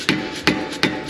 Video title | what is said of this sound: Dial in your Ride HEIGHT!!! - BMW G8X M3 / M4 | it's making kind of a hollow sound